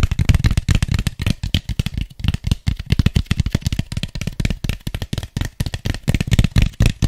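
Fingertips and nails rapidly tap and scratch the sides and base of an empty, hollow white styrofoam cup. The result is a quick, uneven stream of dry, hollow thumps mixed with bright, scratchy rustling, each tap dying away almost instantly.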